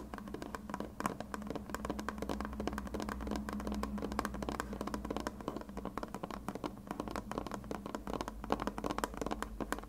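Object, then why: Plastic glue bottle. A white plastic glue bottle with a blue cap, a hollow container, is held sideways and tapped with fingertips and short red nails. Rapid, continuous soft hollow taps and light clicks with a low-mid tone around 220 Hz die away almost instantly over a faint steady low hum.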